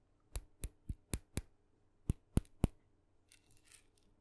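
Long fingernails tap the head of a small red-dotted painted wooden mini maraca, hollow and filled with beads, eight times in quick sharp clicks with a low, woody thump. Softer, bright scratching follows near the end.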